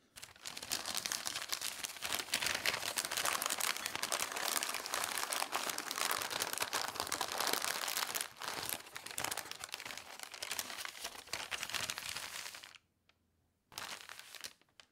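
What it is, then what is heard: Newspaper sheet being rubbed and scratched. A flat, thin newspaper sheet is smoothed and rubbed with both hands, fingertips and nails scratching across it. The result is a steady, bright crinkling and scraping rustle for about 12 seconds. It then drops to near silence and resumes briefly at the end.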